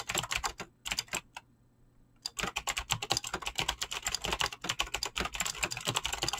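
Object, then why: Mechanical keyboard with plastic PBT keycaps. Fingertips type fast on a Razer BlackWidow mechanical keyboard with clicky green switches and pink-blue dyed PBT plastic keycaps, making a rapid stream of sharp, bright clicks with very short decay. A brief burst of typing gives way to nearly a second of near-silence, then the typing resumes as a dense, steady clatter to the end.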